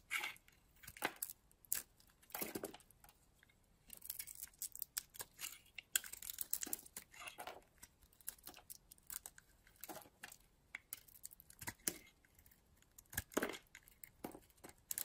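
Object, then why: Bar of soap shaved with a metal blade. A purple and blue bar of soap is held in the palm while a metal blade shaves flakes off it. The clip is a quiet, irregular run of short, crisp scraping and crackling strokes that sound dry and bright with almost no low end. Each stroke stops abruptly with no ring.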